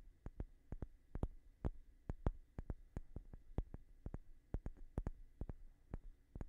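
A light-colored, palm-sized solid wooden block is held steady and tapped with fingertips and short nails. The quiet, dry taps come in a quick, uneven run, each a brief low knock with a bright click on top that dies away almost at once.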